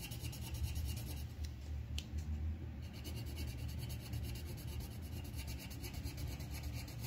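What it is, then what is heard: Paper sheet on clipboard scratched by colored pencil. The tip of a green wooden colored pencil scratches along the stem on a thin white paper sheet resting on a clipboard. It makes a steady, continuous rubbing scrape with a faint bright grain over a dominant low, dull rumble, lasting about seven seconds without clear breaks.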